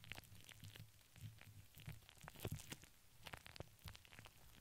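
Long nails scratch and tap across a hollow steel wire-mesh microphone head with both hands. Quick, dense crackling scratches and bright clicking taps ride over a steady low, boomy hum, with a few louder taps near the middle.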